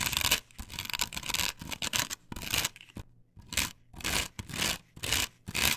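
Long nails scratch vigorously across the cutouts of a flat, perforated plastic stencil template glued to a wooden board. Bright, rasping scrapes come in quick, irregular bursts with brief silent gaps between them. The sound is dry, with almost no ring, and sits mostly in the high range with a faint low hum underneath.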